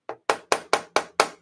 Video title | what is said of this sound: Texas Strong Day 2 Mitigation | It sounds tinny and hollow.